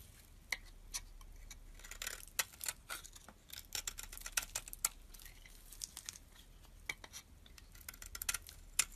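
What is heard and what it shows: A utility knife blade shaves the purple coloured layer off a solid purple bar of soap with a white core held in the hand, scraping and carving with the metal blade. Quiet, bright, crisp scrapes and sharp little clicks come in irregular bursts, each dying away almost instantly, with very little low end.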